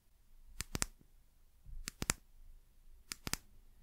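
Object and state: Small amber glass bottle tapped with nails.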